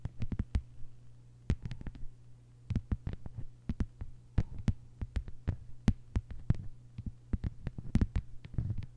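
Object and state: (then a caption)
Plastic cutting mat tapped with fingernails. A flat, thin, solid lime-green plastic cutting mat lying on a table is tapped by the long, white-polished nails of both hands. The result is a quick run of short, dull taps with sharp clicky tops and almost no ring, scattered in uneven clusters over a low steady hum.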